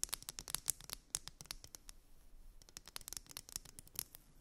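Long nails scratch and tap along a solid, purple glitter wide-tooth plastic comb resting on fluffy fabric. A quick, irregular run of crisp, bright clicks and scratchy strokes plays at a soft level, each dying away almost instantly with little low end.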